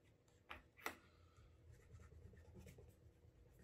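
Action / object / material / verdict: scrape / leather dress shoe / leather / none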